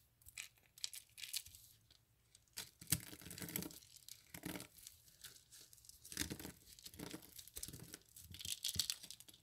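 A palm and fingertips press and rub a pile of dry soap curls and crushed soap flakes, crushing them. The result is a quiet run of irregular, bright crackling and tearing crunches, with short gaps between bursts and a few louder crunches.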